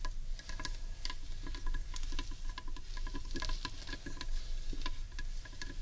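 Long painted nails tap rapidly on the underside of a large hollow carved wooden bowl. The quick, light taps make bright clicks with a short, hollow woody ring over a steady low rumble, and they run together into a continuous patter.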